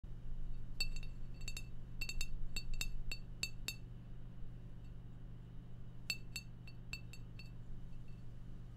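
A glass beer bottle is tapped in two quick bursts of sharp, bright clinks, each with a short ringing tone near 2.7 kHz. A steady low hum runs underneath throughout, and there is a quiet pause between the two bursts.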